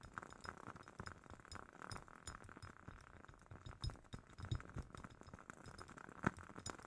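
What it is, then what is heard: Glass candle jar. A glass candle jar from a wood-wick candle is tapped with a rapid run of soft, quiet clicks and clinks. A few sharper knocks stand out, the loudest near the end. Each tap dies out almost instantly, with low thumps underneath and a faint bright glassy edge.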